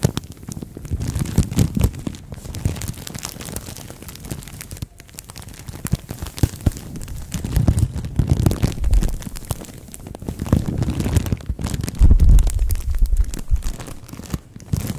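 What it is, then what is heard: Plastic bag crinkled over a microphone. A thin green-and-white printed plastic bag wrapped over a microphone head is squeezed and crinkled with both hands and long nails. The result is continuous, irregular crinkling with heavy, booming low-end rumble and faint bright crackle. The sound swells louder in waves, peaking around 12 seconds.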